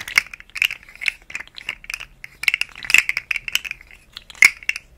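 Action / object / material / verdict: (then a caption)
shake / segmented plastic slug fidget toy / plastic / none. A rainbow, segmented, hollow plastic articulated slug fidget toy is moved and flexed by hand over the microphone. It makes rapid, irregular bursts of dry ratcheting clicks from its segments, bright and centered around 2 kHz with no low end. Each click dies away almost instantly.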